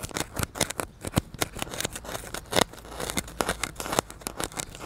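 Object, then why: Polystyrene foam block. A solid white polystyrene foam block, held and tilted near the microphone, is poked and scratched with a needle and fingers. A rapid, irregular series of crunchy, creaking squeaks and dry crackles sounds out, each sharp and short with almost no ring. Some scrapes are brighter and louder than others.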